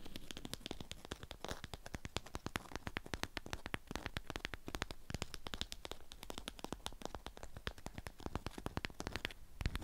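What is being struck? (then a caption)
Beeswax-coated fabric wrap around a flat item. Long acrylic nails scratch the waxed surface of a flat rectangular item wrapped in a strawberry-print beeswax cloth and held in hand. Rapid, dense, crinkly scratches and sharp clicks run steadily throughout, bright and crisp over a soft low rumble.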